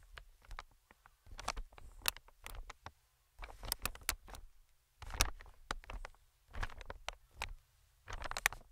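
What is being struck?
Inflated plastic-film air cushion.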